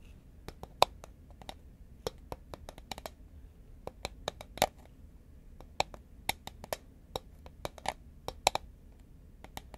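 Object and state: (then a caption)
Cardboard chip can tapped with nails. Long nails tap a hollow green Pringles paperboard chip can held horizontally, producing a quick, irregular series of short, dry clicks and taps. Each tap dies away almost instantly, with a faint hollow tone near 740 Hz and a bright edge over a quiet background.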